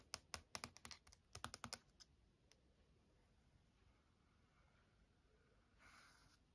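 Long acrylic nails and fingertips tap quickly across the smooth glossy printed cover of a large softcover Taschen art book lying flat on a wooden desk, giving about 14 sharp, bright clicks over the first two seconds. The taps give way to a soft, quiet tracing across the cover, then a brief brighter scratching swell near the end.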